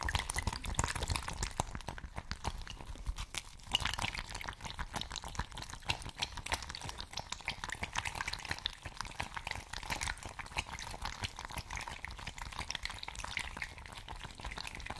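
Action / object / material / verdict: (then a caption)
shake / fabric ice bag partly filled with water / fabric, water / none. A patterned fabric ice bag, partly filled with water, is dangled from its cap and shaken, producing continuous sloshing and dripping liquid sounds. Dense, rapid splashes and drips run throughout the 15 seconds at a fairly steady level.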